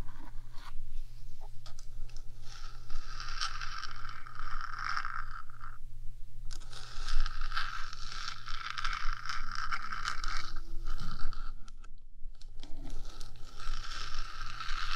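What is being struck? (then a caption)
Small metal microphone box. One hand with long dark nails scratches and taps the top of the small, hollow, painted metal body of a 3Dio binaural microphone. A dense, bright, rasping scrape runs almost continuously, broken by short pauses near 6 and 12 seconds, over a steady low hum.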